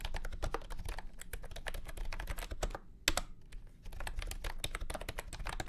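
Fingertips type steadily on a full-size beige and orange plastic retro keyboard with round keycaps and a hollow body, resting on a felt mat. A rapid stream of short, dry clacks with a hollow, low-heavy body and brief bright tips runs throughout. It is broken by a brief pause, a single sharper, louder clack just after three seconds, and a quieter lull before the typing picks back up.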